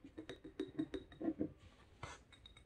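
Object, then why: Glass jar filled with candle wax. An unlit small cylindrical glass jar candle with a paper label, filled with wax, is held in both hands and tapped with long red-painted nails. A quick series of soft, dull clinks with a low glassy tone is heard, each dying away almost at once. Near the end comes a brief brushing hiss followed by a few fainter taps.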